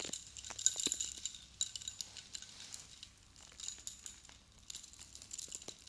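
A silver metal chain necklace with many long metal cone spikes is held up in both hands while fingertips with long blue nails shake it and tap the spikes. Many quick, bright metallic clinks and jingles come in uneven bursts, each dying away almost instantly, with nearly no low end beneath the high chiming.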